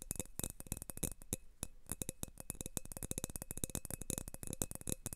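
Fingertips rapidly tap and rub the wall of an empty, thin, clear glass tumbler held in both hands. The clip is a quiet, dense stream of short, dry clicks and taps that die away almost instantly. A faint steady glassy tone sits near 500 Hz, with a thinner one higher up.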